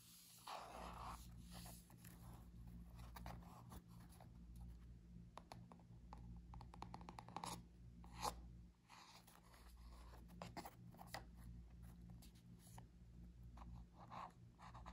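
Long nails scratch the laminated cardboard cover of a small spiral notebook with metal wire rings while it is held in hand and turned over. Quiet, dry scratching strokes and soft taps come in bursts over a steady low hum.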